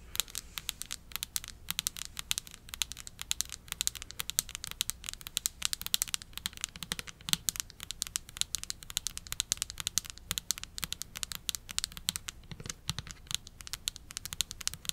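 Long acrylic nails rapidly tap and scratch a medium pink plastic shampoo bottle with a white cap, hollow and apparently full, held close to the mic. The result is a dense, continuous stream of crisp, bright clicks and scratchy rasps that stop almost instantly, with very little low end.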